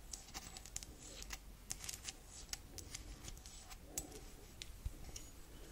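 Long acrylic nails tap and scratch the sides and base of an empty, hollow white printed ceramic coffee mug with a handle. A steady run of short, bright clicks rings only briefly, over soft, dry scraping and a faint low rumble.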